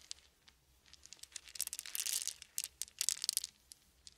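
Small solid wooden beads are shaken and poured between open cupped palms. The result is a quiet, dense, bright clicking and rattling that swells into busier bursts of overlapping clicks, with almost no low end.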